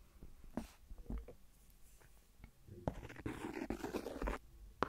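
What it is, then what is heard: Silicone phone case tapped with a pen. The end of a clear plastic ballpoint pen taps on a thin, hollow, empty transparent silicone phone case resting on the recorder. Soft, dull, quickly fading taps are scattered through the clip, with a denser, scratchier burst of contact near the end.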